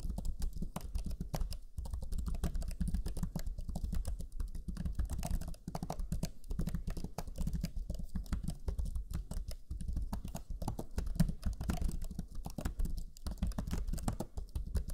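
Fingertips of both hands type rapidly on the black plastic chiclet keyboard of a Lenovo Legion 5 laptop, its low-profile plastic keys set into the laptop body. The result is a dense, steady stream of short, soft, muffled key taps. Each tap has a low thump and a light clicky edge and dies away almost instantly.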